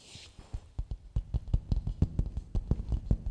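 Fingertips and nails tap and rub the outer surface of a medium, hollow, empty coconut shell bowl held upside down. About sixteen short, dry, hollow knocks ring out in an uneven rhythm, low and thuddy with almost no ring, after a brief soft, bright scratchy rub at the start.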